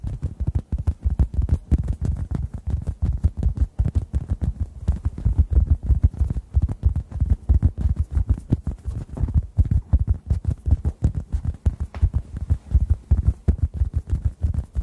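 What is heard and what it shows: A hand-sized, solid, yellow-orange synthetic foam sponge is tapped and pressed with fingertips near the microphones. It makes a rapid, uneven stream of soft, muffled thuds. The sound is almost entirely deep, low-pitched thumping that dies away instantly, with no bright or high content.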